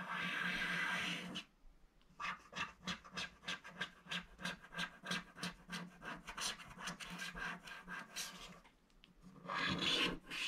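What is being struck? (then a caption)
Scratch-art paper page and wooden stick. A thin wooden stick scrapes along the lower edge of a flat, black-coated scratch-art paper page. It begins with a steady, bright, hissing scrape, then quick, evenly paced scratching strokes follow for several seconds. It ends with another sustained scrape.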